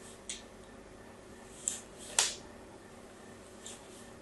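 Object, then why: Bar of soap. A new solid pink soap bar is held in the hand while a fine blade scratches diagonal lines into its surface. Four short, bright, crisp scrapes stand out over a quiet hiss, with the third the loudest, and each fades almost at once.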